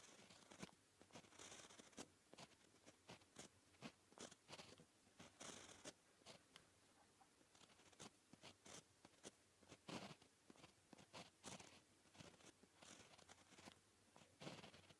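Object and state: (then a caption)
Pen writing on a paper sheet. A white gel pen with a plastic barrel and fine tip scratches across a flat, solid sheet of black lined paper while writing white Korean letters. The clip is quiet and full of short, bright, papery scratching strokes in quick irregular bursts, with brief pauses between letters.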